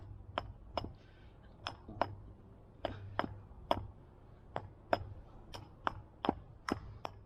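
A wooden spoon blank cut from firewood, with a small hole left by twigs or a beetle, is tapped 14 times in a steady series. Each tap is a short, dry knock that dies away almost at once, over a low background hum. The blank sounds solid, and the hole can be worked around and packed once the wood dries.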